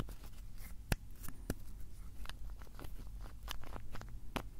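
A small blue plastic bottle is held in both hands while fingers twist its cap open and closed. Quiet, sharp plastic clicks and ticks sound over a low, steady rumble, with several brief louder snaps standing out from the soft rustling.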